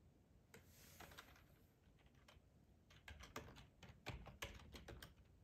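Fingertips with short nails type on a hollow black plastic ergonomic split keyboard resting on a plaid tablecloth. Irregular, quiet clacking keystrokes with bright clicks and a low hollow thump are heard, becoming louder and more frequent in the second half.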